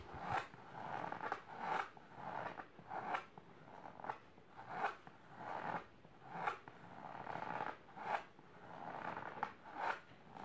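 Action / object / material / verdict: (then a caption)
scrape / fabric-covered storage box / fabric / none. Long silver nails scratch the fabric of a large pink patterned fabric-covered storage box or ottoman. Quick, raspy rubbing strokes repeat in a steady rhythm, each swelling into a brief louder swipe. The sound is soft, dry and midrange, with little low end and no ring after each stroke.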